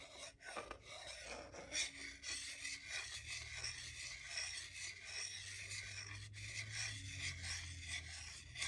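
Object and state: Wooden salad spoon and fork rubbed together.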